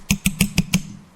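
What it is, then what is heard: Finger ring tapped on a microphone. A finger ring is tapped five times in quick, even succession against a microphone. Each tap makes a dull low thump with a bright clicky edge that dies away almost at once.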